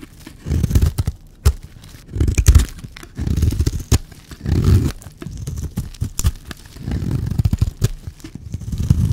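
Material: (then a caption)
Soap. A blade scrapes and cuts shavings off a solid, dry teal bar of soap. Repeated bursts of dull, low, crumbly scraping rise and fall, punctuated by a few sharp ticks as the blade catches and pulls through the bar.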